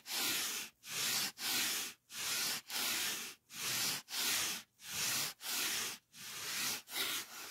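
The edge of a white polyethylene foam packing sheet, held in the hand, is rubbed with the fingertips in a steady series of short strokes. Each stroke gives a dry, bright, hissing squeak with almost no low end, separated by brief quiet gaps.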